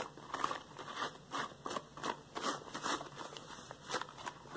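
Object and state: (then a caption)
Rubber household gloves. Hands wearing yellow latex household gloves rub and interlock together over a wooden floor, then come to rest spread on the floor. A series of short, squeaky rubber rubs and crinkling bursts with a squeaky tone near 1.1 kHz and bright hiss rise and fade repeatedly at a quiet, close level.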